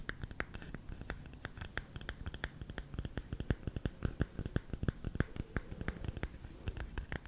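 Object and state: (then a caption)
Bamboo salt container. Fingernails scratch and tap the top of the lid of a round, hollow, lidded bamboo salt canister. The result is a rapid, uneven series of short, dry taps with bright clicky edges over a low, hollow thud and a soft scratching texture.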